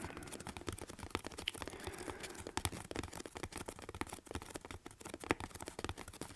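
A hollow corrugated cardboard box, held above the face, is scratched and tapped on its side by both hands using fingertips and nails. The result is a dense run of quick, dry scratches and crisp taps with bright, papery texture and short, hollow knocks that die away almost instantly.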